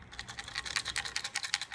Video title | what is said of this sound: Mazda CX5 2.2 Skyactiv Diesel Oil Strainer Removal and Replacement | if I shake it you can hear that it is full of full of Parts which it shouldn't be